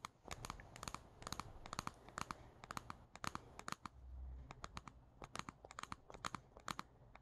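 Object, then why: Stuffed plush fabric toy bear. Long painted nails tap and scratch the velvety fabric face of a small, stuffed and squishy brown plush teddy bear (Squishmallow-style) with a black felt hat, resting on a wooden table. Fast, irregular, crisp taps land over a soft, continuous scratchy rustle, each one brief and dry with a bright crackle and a faint low thump.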